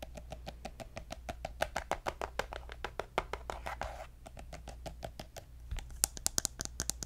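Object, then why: Soft plastic squeeze tube. Fingernails tap and scratch a pink soft plastic lotion squeeze tube with a gold cap, making a steady run of quick, dry, clicky taps that stop almost at once. A brief rough scratch breaks in near the middle, and the last taps turn sharper and brighter, all over a faint low hum.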